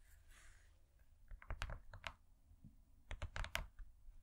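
Long nails tap rapidly on a thin, flat, gold-laminated cardboard cake board that has been turned over. The quiet, dry clicking comes in two short clusters, each tap a brief low thump with a bright, crisp edge that dies away almost at once.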